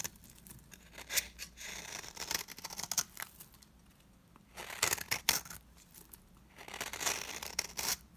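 A utility knife blade scrapes across the flat face of a dry, round, cream-colored solid bar of soap held in the palm. Bursts of bright, crisp scraping and shaving come in three main clusters, with quieter scratches between them. Each stroke ends almost at once, with no ring.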